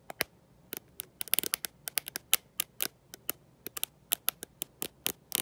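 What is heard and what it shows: A black smartphone with a glossy glass back and no case, held in one hand, is tapped and scratched by long nails fitted with gold metal paperclips. The result is an irregular, rapid run of sharp, bright clicks and ticks that die away instantly, with almost no low end and quiet pauses between bursts.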